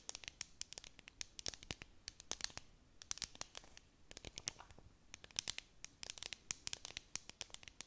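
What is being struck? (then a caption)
Plastic tumbler cup with dome lid. A tall clear plastic tumbler with a domed lid and decorative beads, filled with sequins and star confetti, is held in both hands and scratched and tapped on its sides with long painted nails. It makes a quiet, dense stream of sharp, bright clicks and crisp scratching. Each tap stops almost instantly, with little low-end body.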